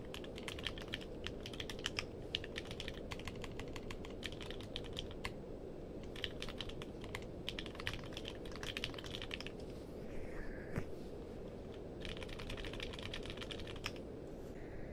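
Fingertips type on a compact mechanical keyboard with a purple case, plastic keycaps and a cable attached. Rapid bursts of sharp, bright clicks break off briefly around 6 seconds and again between 10 and 12 seconds. A steady low background rumble runs throughout.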